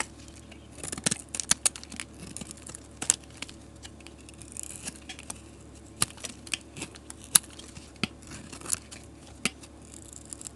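A solid green bar of soap held in the hand is scraped along its edge with a metal blade, peeling off thin shavings. Soft, dry scraping and crackling come in uneven bursts with sharp, bright ticks and short quiet gaps between. The sound is mostly high and crisp, with little low end.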